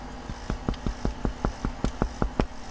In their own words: the bread is done, and the best way to tell it's done is to knock on it, and each side should make a nice hollow noise.